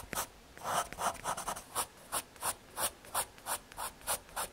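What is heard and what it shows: A graphite pencil rubs and hatches shading strokes across the surface of a small square of thin, solid brown MDF fiberboard. Each stroke is a soft, dry scratching swish with a bright, hissy edge and a mid-range body. The strokes repeat at roughly three per second over a quiet background, growing more evenly spaced toward the end.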